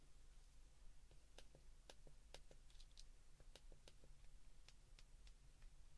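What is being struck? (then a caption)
Plastic flip phone keypad buttons. Fingertips repeatedly press the keypad buttons of a white plastic flip phone held in the hands. The result is a quiet series of short, crisp plastic clicks with bright ticks, heard over a steady low hum.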